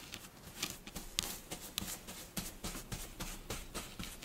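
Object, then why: Kinetic sand scratched with fingernails. A flat layer of pink kinetic sand on a dark surface is poked and scratched with the tips of long blue fingernails. It makes a quiet, irregular series of short, crunchy, bright scratches, with a few sharper clicks standing out.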